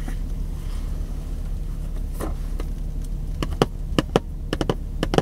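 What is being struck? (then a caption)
Cardboard product box. A long, narrow, printed cardboard product box that looks empty or lightly filled is held in one hand while fingertips tap and scratch its printed surface. Soft scratching over a steady low hum gives way to a run of short, sharp, bright taps in the second half, each dying out almost instantly.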